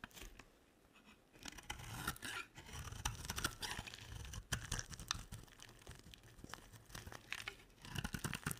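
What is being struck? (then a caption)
Soap bar shaved with a blade. A solid rectangular olive green soap bar, held in the hand, is shaved and carved with a box-cutter blade. Dry, crisp scraping and crunching strokes come in quick bursts with bright, papery edges and a soft low thud underneath, separated by brief quiet pauses.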